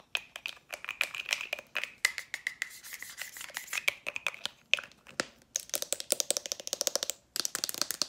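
Long nails rapidly tap and scratch a small, hollow, handheld white plastic Mario Badescu facial spray bottle, producing dozens of quick, dry clicks and scrapes. The sound is bright and high-pitched with a faint ringing tone around 2.6 kHz, and the tapping grows denser and faster toward the end.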